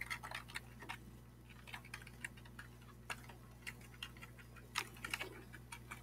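Fingertips tap and scratch across the keys of a black plastic computer keyboard with a hollow plastic body, held up close. Short, dry, bright clicks come in irregular bursts and die away almost instantly. A steady low hum runs underneath the whole time.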